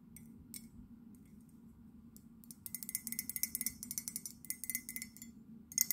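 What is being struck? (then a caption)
Ceramic mug. An empty white ceramic London souvenir mug with a blue handle is held in the hands and tapped on its outer wall with long nails. A few faint, scattered taps give way to a rapid run of short, bright, clicky taps with a high ticking tone. Each tap stops almost instantly with no ring.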